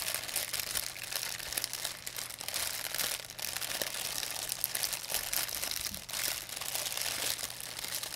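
An empty, thin white plastic pharmacy bag is crumpled and unfolded between fingers with long nails. It makes a steady, dense, bright crinkling that runs the whole clip, with sharp crackles rising out of the rustle.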